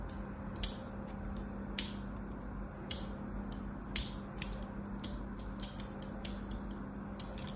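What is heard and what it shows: A small blade scores more parallel lines into a solid cream bar of soap that is already lined with cuts, the bar held on a mat by a hand with long orange nails. Short, crisp, bright scratching clicks repeat irregularly over a quiet, steady low hum.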